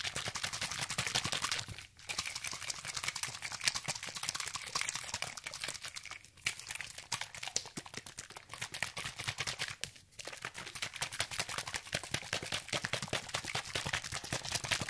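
A medium orange plastic spray bottle with a white spray cap, hollow and holding liquid, is shaken rapidly in one hand around the microphone. It makes a fast, dense, bright sloshing and rattling with brief pauses near 2, 6.5 and 10 seconds.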